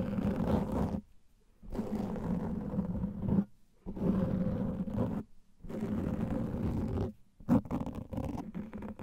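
Fingernails of both hands scratch a large black foam microphone windscreen, producing a dense, muffled, rumbling scrape heavy in the low end with a steady hum-like tone around 200 Hz. The scratching comes in five bursts separated by short silences, and there is almost no bright content.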